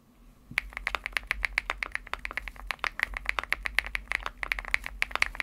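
Fingertips type on a Womier SK75 75% mechanical keyboard with an aluminum case, pastel plastic keycaps, and a hollow case with foam inside. After a brief quiet start, a steady run of short, sharp, bright clacky key taps begins, each dying away almost instantly. A faint low hum sits underneath.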